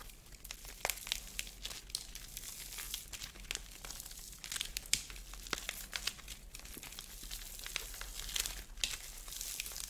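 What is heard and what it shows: A fist-sized ball with a white plaster shell and a core of small blue foam beads starts intact, then is squeezed and broken apart with thumbs and fingers. Dense, bright crunching and cracking of the plaster mixes with the crinkle of the foam beads in many quick, sharp bursts over a quiet background.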